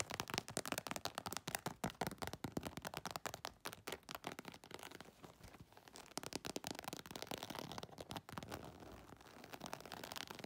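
Long nails scratch quickly across the scaled, embossed texture of an iridescent holographic faux leather cosmetic bag. The result is a dense run of dry, sharp crackling scrapes with bright, high hiss and very little low end. The scratching stays fast and steady throughout.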